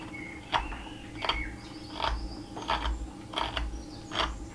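A steel carving knife shaves and scrapes the edge of a solid, flat, narrow cherry wood spatula blank held in a gloved hand against a leather apron. Seven short, dry scraping strokes come at an uneven pace, each a brief rasp with a bright, high edge. Between strokes there is a low, steady background hum.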